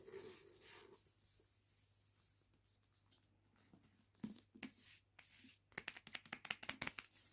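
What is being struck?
Hardback book with paper dust jacket.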